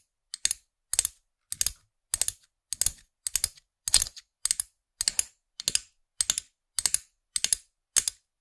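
Long nails tap and click on the small hard plastic character head of a figurine-topped pen toy, which sits on a plastic stem close to the microphone. About fourteen quick bursts of crisp, bright clicks, each a cluster of two or three taps, come at a steady pace. Each burst dies out almost at once, with no ring.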